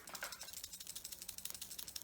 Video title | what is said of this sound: A Home Educator: Beachcombing With Wayne | you'll hear the mouthpieces on the inside rattling